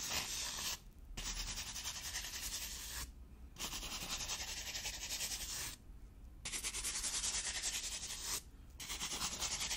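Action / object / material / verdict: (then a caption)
scrape / foam insert sheet / foam / none. A grey foam insert sheet lying flat in an open case is scratched and rubbed with long painted nails. It makes a bright, dry, hissing rasp in long continuous strokes. The strokes are broken by four short pauses.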